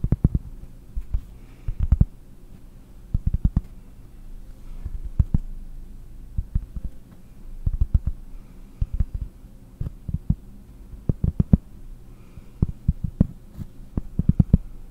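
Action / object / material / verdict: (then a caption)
tap / flat cork disc tapped with fingernails / cork / none. A round, flat, solid cork disc held up beside the microphone is tapped with long blue-painted nails. The taps land as dozens of dull, low, muffled thuds in irregular quick clusters, each dying away almost instantly over a faint steady low hum.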